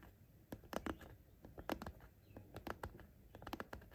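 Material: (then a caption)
Fabric. Short nails tap and lightly scratch the top edge of a patterned fabric zippered pencil case, next to the zipper. Quiet, irregular soft taps with brief dry scratchy rustles come in loose clusters, each dying away almost at once over a low background hum.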